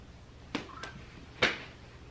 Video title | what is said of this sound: Wearing A BUTT IMPLANT To See How My Boyfriend Reacts!! - Prank | I heard a hollow sound.